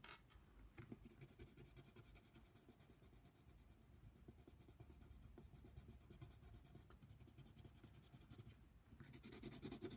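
A yellow colored pencil is scratched in quick back-and-forth strokes across a flat paper coloring book page showing a giraffe. The result is a soft, steady, papery scratching with an irregular rhythm, becoming slightly louder and brighter near the end.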